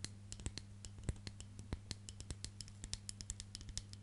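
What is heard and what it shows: Long nails scratch the black bristles and then the solid wooden back of a hand-sized wooden hairbrush. The result is a quiet run of short, dry, irregular clicks and scrapes with bright crisp tops, over a steady low hum.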